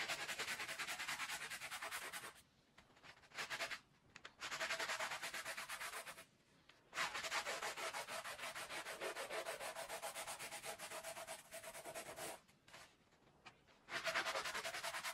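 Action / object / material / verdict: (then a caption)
scrape / wet wool pile rug scrubbed with a plastic bristle brush / wool / none. A handheld plastic bristle brush scrubs back and forth across a small, wet, Persian-style woven wool pile rug with a red and blue pattern, covered in soapy foam on a tiled floor, while the other hand presses the rug down. The result is a bright, rapid, rhythmic scratching and scrubbing hiss in long runs, broken by a few short quiet pauses.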